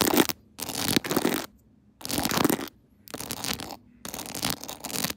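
Long nails scratch and tap over a clear plastic phone case decorated with rhinestones and a pearl Hello Kitty, set on a tripod. Five bursts of dense, bright, rustling scratches are separated by short silent gaps.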